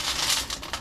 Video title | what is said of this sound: Imagine The Fun Times We'll Have! | You can probably hear how crispy they are, crunchy.